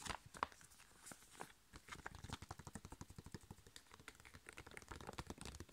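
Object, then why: Foil-laminated plastic sachet. Long painted nails and fingertips quickly tap the front of a flat, sealed, printed, foil-laminated plastic sachet holding a hand-sized sheet face mask. About thirty quick, dry, crinkly clicks follow one another with no ring, each dying out at once. A few scattered taps at the start give way to a steady rapid run.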